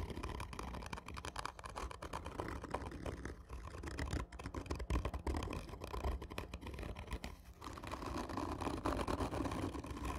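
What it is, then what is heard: Cardboard tube scratched with nails. Long nails scratch and tap rapidly on a hollow, black, textured cardboard whisky tube. The result is a dense, continuous run of dry scraping and quick taps with a hollow, low-heavy resonance and little high-end brightness. The level rises and falls in bursts throughout.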